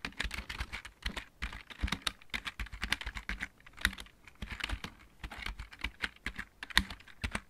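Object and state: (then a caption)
Plastic mechanical keyboard being typed on. A full-size backlit mechanical keyboard with plastic keycaps is typed on with the fingertips of both hands. The result is a fast, steady run of short, dry clicks and clacks, each bright on top with a low thump underneath and dying away almost instantly.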